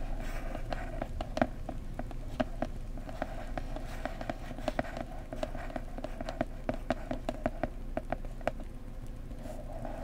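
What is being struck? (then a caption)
Small cardboard box. Fingertips and nails of both hands tap and scratch on the printed top surface of a small cardboard mug gift box. Many short, dry, hollow taps with quick decay sound over a soft continuous scratching hiss, with low body tones around 250 Hz and 650 Hz.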